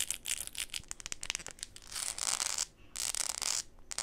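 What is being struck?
Plastic flip-flop sandal sole.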